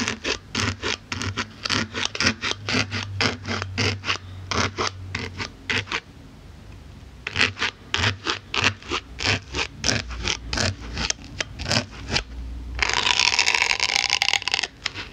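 A pink-handled needle tool pokes and rubs into the surface of a solid white polyethylene foam block, making a rapid run of short, bright, scratchy strokes. The strokes pause briefly near the middle, resume, then give way to a sustained, louder rubbing scrape at the end.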